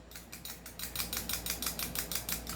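An airsoft pistol whose outer barrel is not fixed is shaken, producing a rapid series of bright, short metallic rattles as the loose barrel knocks back and forth. The clicks are clearly separated, about fifteen in quick succession, over a low steady hum. The loose outer barrel is a fault, in contrast to a fixed barrel that does not move.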